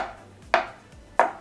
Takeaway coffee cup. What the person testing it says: this one has a dense sound